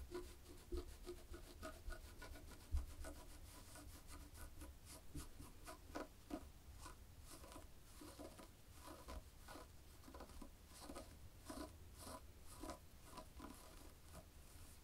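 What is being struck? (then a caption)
Knitted fabric. Long polished fingernails of both hands scratch across a black and white textured knit fabric. Soft, dry scratching and rubbing strokes repeat steadily for the whole clip at a quiet level, with a faint low rumble underneath.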